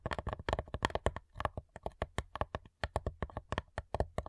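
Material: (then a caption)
Wood. Long nails tap rapidly on the lid of a flat, hollow cigar box made of light wood. Quick, dry taps land in an uneven, fast rhythm, each a short knock with a hollow low thump and a midrange tone near 930 Hz, plus faint bright clicks. Every tap dies away almost at once, leaving no ring.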